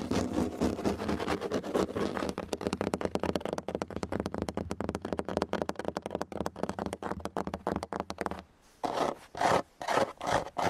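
Fingertips and short nails rapidly scratch the tight basket-weave of a grey woven synthetic (plastic) rattan outdoor chair with a hollow frame, right beside a foam-covered handheld recorder. A dense, bright, crackly scraping runs for about eight seconds over a steady low hum. After a brief silence, a few separate louder scratches and taps follow.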